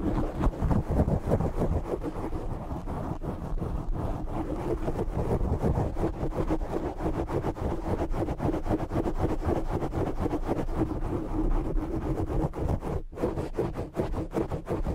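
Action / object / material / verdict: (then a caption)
scrape / foam microphone windscreen / foam / none. Both hands scratch the sides of a black foam windscreen on a condenser microphone with short fingernails. This makes a dense, continuous rasping rustle that stays steady throughout. The sound is heavy in low rumble and muffled, with almost no bright top end.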